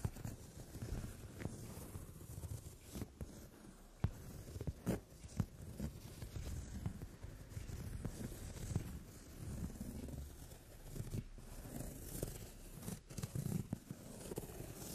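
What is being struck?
Padded leather sofa seat.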